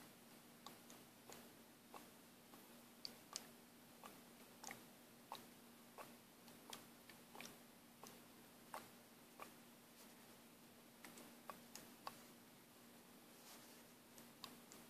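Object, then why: Small plastic paint bottle with mixing ball. A small plastic paint bottle with a mixing ball inside is shaken by hand, so the ball ticks against the walls. About 20 short, bright, dry clicks come at uneven intervals over a faint, steady low hum.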